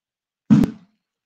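An emergency instant cold pack, a plastic pouch, is squeezed until its inner pouch bursts with a single low, muffled pop centered around 200 Hz that fades within about a third of a second. The pack is activated and turns cold.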